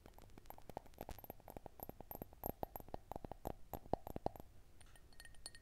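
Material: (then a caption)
Glass. An empty, small clear drinking glass tumbler held in the hands is tapped and scratched along its side and rim by long white-tipped nails. A rapid, irregular series of light clinks follows, each with a brief glassy ring around 690 Hz, mixed with soft scraping. The taps fade near the end, leaving faint, steady high tones.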